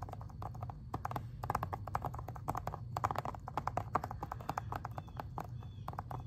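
Long-ish fingernails tap rapidly on the front cover of a plastic Xbox 360 game case. The result is a dense stream of short, dry clicks with a pitch around 1.2 kHz over a steady low hum.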